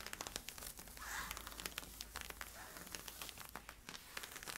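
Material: Polyester-spandex.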